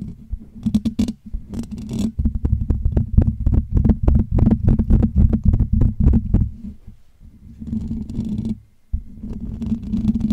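Fingertips and short nails of both hands scratch and tap rapidly on the hollow metal wire-mesh dome grille of a Blue Yeti USB microphone. The result is a dense stream of close-miked, boomy low thumps and rustling scrapes with a steady low hum underneath. The sound eases into a quiet lull near the seven-second mark, cuts out briefly, then resumes with softer scratching.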